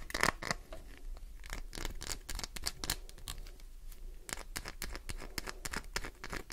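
A green translucent glycerin soap bar, solid, has nails dug into it and scratched across its surface, with flakes falling. Dry, crisp scratching and scraping bursts with bright, short clicks repeat rapidly over a low background hum.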